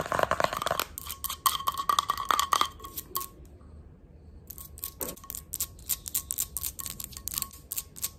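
Long red nails tap and scratch quickly on a small, pink-patterned glass candle jar that appears full, striking both its silver metal screw lid and its glass sides. Sharp, bright clicks and scrapes come in rapid bursts over a faint steady ring near 1.1 kHz. After a brief quiet stretch in the middle, the fast tapping starts again.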